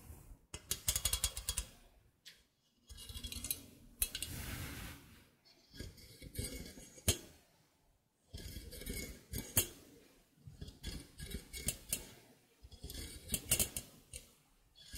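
A steel egg slicer with taut cutting wires is held in front of a microphone while long painted nails pluck and scratch along its wires and frame. The result is bursts of bright, quickly fading metallic twangs and scrapes with a low thumping body, broken up by short pauses.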